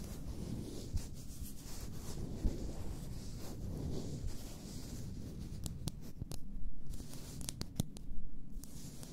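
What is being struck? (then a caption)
Glass bath salt bottle. Fingertips and nails slowly rub and scratch the sides of an upright, full glass bath salt bottle. A low, steady rubbing scrape runs throughout, broken by occasional sharp, bright clicks.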